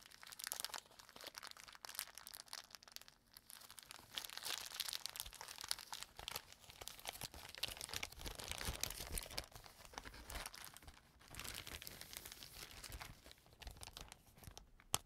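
A clear plastic zip bag is crumpled in the hands and then smoothed out, giving a steady stream of bright, dense crinkling. Quiet gaps around 3 and 11 seconds break up the rustling, and a sharper crackle lands at the very end.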